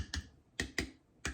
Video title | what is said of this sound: How to make Marmalade! | The rest of them have all got a beautiful ping.